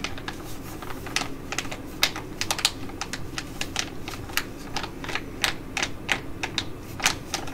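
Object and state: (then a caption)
Foil sheet mask pouch. Long nails tap and scratch a flat, glossy foil sachet of an ID.AZ Derm Gold-Fit Mask held in both hands, making crinkles. Quick, irregular bright clicks and crackles, centered around 2.4 kHz, land over a soft, steady low rustle. Each tap dies away almost instantly.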